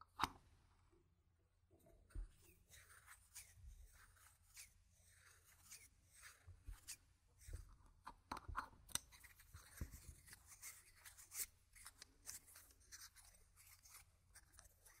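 Small stacks of solid round plastic game gem tokens are held in both hands while the fingers riffle and click them against each other. The result is a quiet, steady run of short, bright plastic clicks and soft rattles with almost no ring, over a faint low hum.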